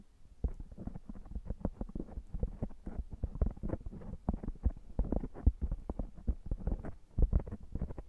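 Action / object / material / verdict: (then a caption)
scrape / foam microphone windscreen / foam / none. Both hands with fingertips and short nails rub and massage a round, soft, hollow black foam windscreen over a microphone. The result is a steady run of quick, muffled, low thumps and rustling scratches, deep and boomy with almost no high end, each touch stopping almost at once.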